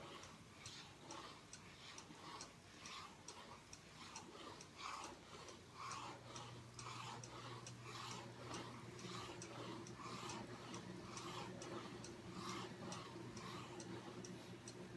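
Fingernails tap and scratch the back cardboard cover of a striped hardcover journal tilted on a table. Soft, dull knocks with a bright, papery scratch arrive in a steady rhythm of roughly one per second. A low, constant hum sits underneath throughout.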